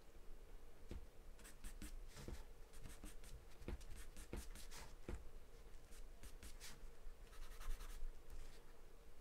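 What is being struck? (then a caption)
Graphite pencil on a paper drawing sheet. A graphite or charcoal pencil held in the hand scribbles and scratches across a large white paper sheet taped flat to a dark surface, shading as it goes. Quiet, dry, bright scratching comes in short bursts of strokes over a faint low rumble. Each stroke stops sharply with no ring.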